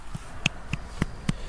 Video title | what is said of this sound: Invasion of the Burmese pythons, part 1 | can kind of hear that Hollow sound of her belly when I tap it gently